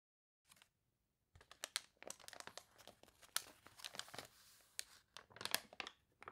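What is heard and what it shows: Hands with long nails press the pages of an open, water-wrinkled paper toy catalog and flip a wavy page. After a faint rustle and a short pause, a dense run of quiet, bright, crunchy crinkles follows in quick bursts, each snapping off almost at once.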